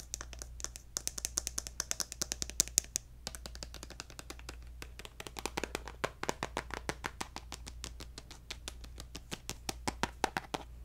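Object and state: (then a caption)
Plastic cosmetic squeeze tube. A hollow pink plastic lotion squeeze tube with a gold cap is tapped rapidly with fingertips and nails, giving a long series of dry, bright clicks and taps. Each one stops almost instantly, over a steady low hum, with a brief pause near the third second before the tapping picks up again.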